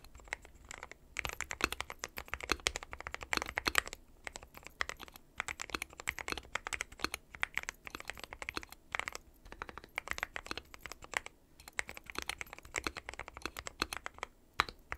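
Fingertips of both hands type continuously on a dark metal-cased mechanical keyboard with white and pastel plastic keycaps. Dense streams of short, bright, clacky keystrokes with almost no ring come in quick bursts, separated by brief pauses.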